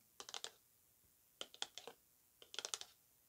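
Long acrylic nails tap the face of a hollow, rectangular orange-and-white striped cardboard perfume box lying flat on a rug. Three quick bursts of light, crisp taps are heard, each a bright, clicky tick that dies away almost at once, with quiet pauses between the bursts.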